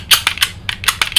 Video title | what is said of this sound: SMOK X Cube 2 Review And Giveaway On TVC (X Cube II) | it doesn't rattle it doesn't move move around much if you do hit it with your finger